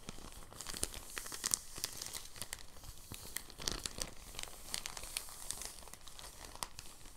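A thin, clear, empty soft plastic bag held flat on a desk is rolled and unrolled while fingertips with short nails crinkle and rub it. The result is a dense stream of soft, bright crinkles and crisp rustles with many short, sharp crackles and no lingering ring.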